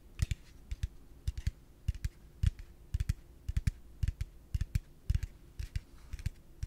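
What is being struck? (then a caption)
Plastic piggy bank. A yellow hollow plastic piggy bank is held in one hand and tapped quickly with the fingertips and nails. It produces a steady run of short, dry, hollow taps with a low thump and a bright clicky edge, and each tap dies away almost instantly.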